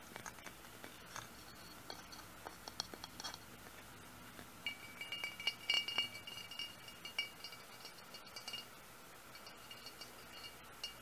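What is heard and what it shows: Fingernails tap irregularly on the textured surface of a large, hollow, pressed cut-glass lamp base with a metal foot. The quiet, bright glassy clinks ring briefly around 2.8 kHz. The taps come in loose clusters, with the loudest near the middle of the clip.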